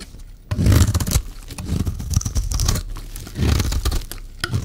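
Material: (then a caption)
Soap. A metal utility-knife blade shaves a solid, rectangular, dry yellow-green bar of soap held in the hand. The result is a run of crisp, crunchy scraping strokes with a bright, papery rasp over a low, dull body. The strokes come in bursts that swell and fade.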